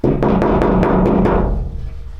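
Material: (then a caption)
Sheet metal. A bare, untreated sheet metal panel on a Toyota Tacoma truck is tapped repeatedly from the top, before any sound deadener is applied. The taps ring out with a hollow, resonant, low-heavy boom that builds into a sustained drone and slowly fades.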